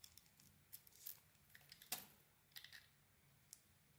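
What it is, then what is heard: Bar of soap being shaved. A utility knife blade cuts and scrapes a hand-sized solid bar of soap with a red and brown striped outer layer over a white core. Quiet, bright, crisp scrapes and short shaving ticks come in irregular bursts, with the sharpest cut near the two-second mark, over a faint low hum.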